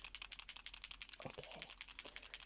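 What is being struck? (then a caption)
Plastic paint marker pen with mixing ball. A plastic paint marker pen is shaken before use, and the small mixing ball inside its barrel rattles to help mix the ink. About sixteen quick, bright clicks sound in a steady run over two and a half seconds, joined near the middle by a couple of duller, lower knocks.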